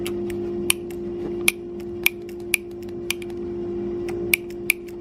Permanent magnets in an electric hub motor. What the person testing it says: if one of them's loose and is loose enough making noise when it's moving it should make a different sound when I tap it